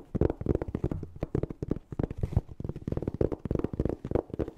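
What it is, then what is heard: Hard-shell zipper case tapped and scratched. A closed, hollow, black fabric-covered hard-shell EVA zipper case is held close and tapped and scratched rapidly with fingernails and fingertips. The result is a fast, uneven run of dull, low, hollow thuds that stop almost instantly, with a brief soft scratching rasp in the middle.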